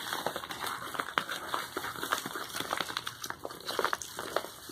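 A medium brown kraft paper padded mailer envelope resting on a towel is turned over while fingertips and nails scratch and rub its surface. The paper gives a steady run of dry, crinkling crackles with many short, bright scratch transients over a faint hiss, and almost no low end.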